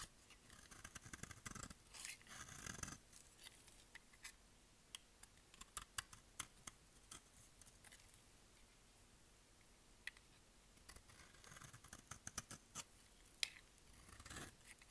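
A utility knife blade shaves the edge of a solid, dry white bar of soap with pink specks, held in the hand. Bursts of crisp, bright scraping come near the start and again near the end, with sharp, dry ticks scattered through the quieter stretch between them.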